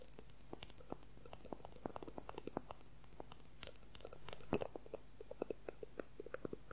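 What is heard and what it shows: Fingernails quickly tap and scratch a transparent plastic ruler held close to the recorder. The result is a quiet, rapid stream of dozens of short, dry clicks with a mid-pitched knock, plus a brief scratchy rasp just past the halfway point.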